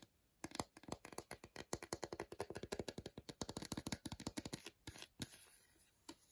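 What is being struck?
Milk chocolate bar.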